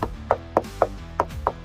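Six knocks on the painted SMC composite hull of a Yamaha FX SVHO WaveRunner personal watercraft. Each is a short, dry, mid-pitched knock that dies away almost at once, over a faint steady low hum. The hull sounds solid, as solid as the Kawasaki Ultra 310's fiberglass and gel coat hull it is compared with.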